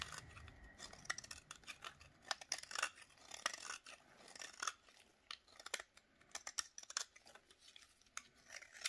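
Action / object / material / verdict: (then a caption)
scrape / bar of soap scraped with a knife blade / soap / none. A snap-off utility knife blade is drawn in repeated scraping strokes along the edge of a solid rectangular bar of dry yellow soap held in a black-gloved hand, shaving off curls. A rapid series of crisp, dry, bright scraping crackles follows, each stroke short and sharp with almost no low end.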